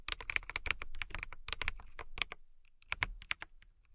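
Long-nailed fingertips type on a clear acrylic mechanical keyboard with transparent keycaps, producing rapid, bright, clacky keystrokes. The bursts come in a busy flurry, then a short pause, then a few more scattered presses. Each click is crisp with almost no ring.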